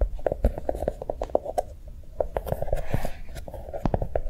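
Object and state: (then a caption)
Small notebook tapped and scratched with fingernails. A small notebook with a brown chocolate-bar cover is held in the hand and tapped and scratched with long nails. Quick, dry taps with a hollow midrange knock come in a rapid, uneven run, with a soft, brighter scratching stretch midway. Each tap dies away almost at once.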